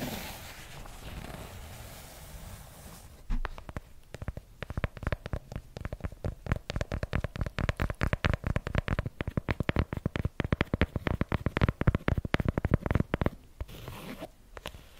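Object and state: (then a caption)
Fabric-covered hardcover notebook. A purple patterned fabric-covered hardcover notebook, held upright beside the microphone, is scratched and tapped on its cover with long nails. About three seconds of soft, low scratching give way to a long run of rapid, dull, bass-heavy taps with very short decay. Gentle scratching returns at the end.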